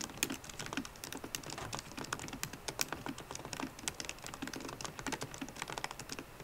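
A MacBook Pro laptop keyboard with plastic keycaps in an aluminum body is typed on with long nails and fingertips. It produces a steady, quick stream of bright, crisp clicking taps with almost no ring, over quiet background hiss.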